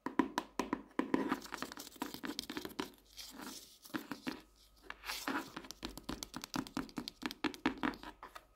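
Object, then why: Softcover paper notebook. Fingertips and long nails tap and knock on the cover of a colorful printed softcover paper notebook lying flat. Dozens of quick, dry, papery taps come in uneven rhythms, with a soft hollow body and brighter clicks from the nails, plus a few brief rustling scrapes in between. Each tap dies away almost instantly.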